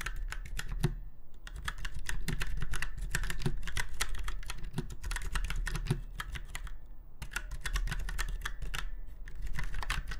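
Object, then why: Mechanical keyboard with round keycaps. Fingertips of both hands type on a retro typewriter-style mechanical keyboard with round white keycaps set in chrome-look rings on a silver frame. Rapid, unevenly spaced sharp clicks and clacks run over a steady low hum, with brief pauses near 1 and 7 seconds.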